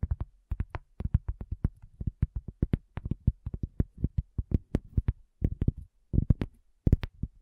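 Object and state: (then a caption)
Cork coaster. A solid, round, flat cork coaster is tapped quickly by the long fingernails of both hands. The result is a rapid, uneven stream of dull, low, dry clicks that stop almost instantly, with brief pauses and a few bunched flurries.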